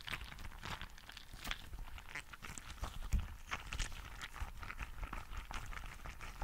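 A green translucent rubber frog toy filled with gel beads is squeezed and scratched with fingertips and nails. It makes a steady stream of crunchy, wet squishes and bright crackles over a low, soft rumble. The sound is quiet and closely packed, with no long ring after each squeeze.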